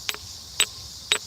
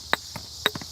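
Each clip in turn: First: quartz geode, tinny ring. Second: shale rock, dull sound, not a geode.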